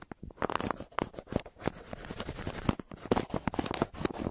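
A yellow pencil tip scratches across the surface of a crumpled brown kraft paper mailer on a table, near its printed logo. The result is a dense run of short, dry scratching and crinkling ticks with brief crackly bursts and almost no ring.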